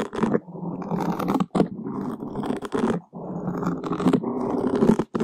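Two long wooden skewers scratch a black open-cell foam microphone windscreen from both sides, making a dense, close rasping scrape with a low-mid, muffled body. The scratching comes in long continuous strokes separated by brief silent gaps.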